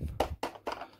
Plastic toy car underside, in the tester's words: hollow plastic sound um no detail at all